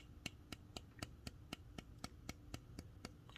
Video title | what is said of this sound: Brian Brown Yeager Isn't Perfect, but it's real nice Fanatic Edge Customized Reate Made | kind of sounds Hollow yeah especially over here